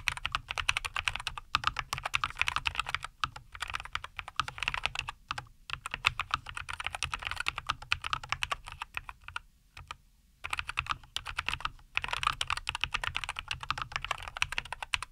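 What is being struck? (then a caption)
Mechanical keyboard with plastic keycaps. Both hands type continuously with their fingertips on a compact 75% NuPhy Air75 V2 mechanical keyboard with a white case, green and white plastic keycaps and linear Cowberry switches, resting on a wooden desk. Rapid, bright, short clacks run in steady bursts centred around 2.5 kHz, with brief pauses near 3 and 5.5 seconds and a longer gap around 10 seconds.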